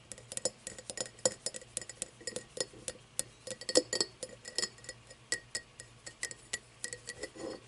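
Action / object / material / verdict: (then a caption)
tap / cut crystal glass tumbler / crystal glass / none. An empty cut-crystal tumbler, cupped in the hands and partly hidden, is tapped and scratched with long nails. About three dozen quick, bright clinks and scrapes sound in an uneven rhythm, each with a very short glassy ring around 500 Hz and almost no low end.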